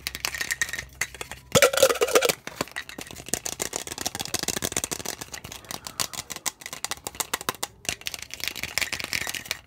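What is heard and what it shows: A clear, hollow, apparently empty plastic tumbler with a blue plastic lid and straw is held in the hands and tapped with fingertips and nails on the cup and lid. The result is a fast, uneven stream of light, bright plastic clicks and taps, with a louder, denser flurry near the start.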